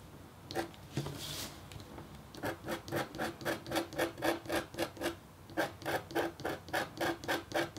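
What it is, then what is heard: Copper foil scratch art board. A red-handled, metal-tipped stylus scratches short strokes into a flat black-coated copper foil scratch art sheet, engraving feathers. A quick, fairly steady series of dry, rasping scrapes runs at about four strokes per second, with a tonal edge near 336 Hz and bright hiss. A slower, smoother rub comes first, and the stroke train pauses briefly near the middle before resuming.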